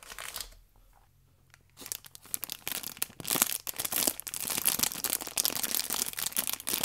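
Fingertips and nails rub the clear plastic film wrapped around an orange pack of paper baking powder sachets held in both hands. A short burst of bright crinkling is followed by a quiet pause, then dense, irregular crinkling and crackling that grows louder and continues to the end.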